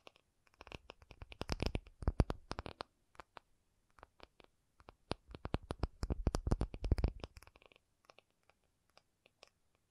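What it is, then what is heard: Acrylic surface tapped. An acrylic object is tapped in two quick flurries of fingertip-like taps, with scattered single taps between and after them. Each tap is a short, dry, low thud that dies away almost instantly, with only a faint bright click on top.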